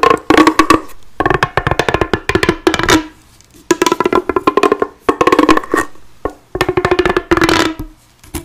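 A bright pink, hollow, corrugated plastic pop tube about a forearm long is held in both hands while long blue-painted nails run along its ribs as it is bent, stretched and twisted. Bursts of quick dry ridge clicks, pops and scratches come in rhythmic runs with a hollow, tonal ring around 300 Hz. Each run is separated by brief near-silent pauses.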